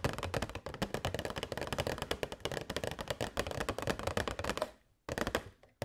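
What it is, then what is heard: Plastic box tapped with nails. Long nails tap rapidly on a tilted, hollow transparent plastic box holding LED fairy lights, making a dense run of sharp, clicky taps with a hollow low knock under them. The tapping fades out briefly near the end, then resumes with a few more clicks.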